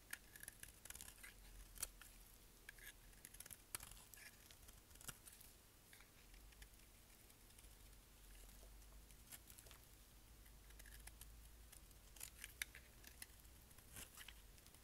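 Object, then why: Bar of soap scraped with a knife blade. A solid black bar of dry soap, held in the hand, is scraped with a utility knife blade. The result is a quiet run of short, crisp, bright scraping ticks and crackles over a low steady hum. Occasional sharper snaps stand out.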